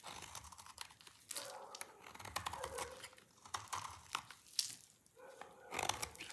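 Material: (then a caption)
Soap. A rectangular solid bar of dry red soap, held in one hand, is scraped with a utility knife blade, peeling off curly shavings. Quiet, dry, bright scraping and crinkling strokes follow one another with short gaps, each stroke fading quickly.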